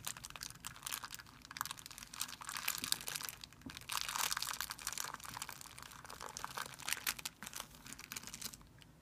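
A thin, clear plastic film bag resting on a white surface is rubbed and crumpled by fingertips. A dense, continuous crinkling crackle with bright, sharp high-frequency rustles rises and falls in waves throughout, fading softer at the end.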